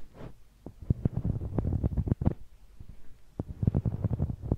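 A large, hollow blue rubber spiky massage ball is held in one hand, and its knobbly surface is rubbed and scratched against a small handheld microphone. This gives close, low, thumping bumps and rough rubbery scraping in quick irregular bursts, with a short pause in the middle.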